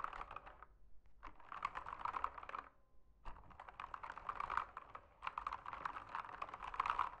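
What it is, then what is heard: Plastic mechanical keyboard typing. Fingertips type on an RGB backlit mechanical keyboard with plastic keycaps, producing rapid, steady clicking bursts. The bursts are separated by a few brief pauses, and each click is short and dry with little ring.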